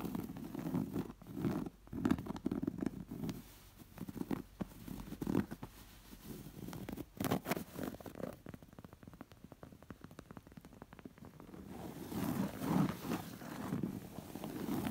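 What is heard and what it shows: Long nails scratch along the raised thread embroidery of a round, stuffed cotton cushion, making soft, muffled rasping that sits mostly in the low-mid range. The scratching comes in dense bursts of quick, brushy strokes with quieter stretches between them, and it swells again near the end.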